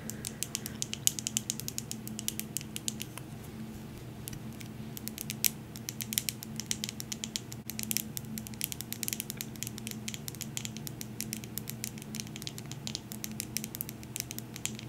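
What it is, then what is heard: Glass candle jar. A medium glass jar candle with a glass lid, filled with blue wax, is held in the hands and tapped with long nails. The result is a rapid, uneven stream of sharp, bright clicks that die away almost instantly, over a steady low hum.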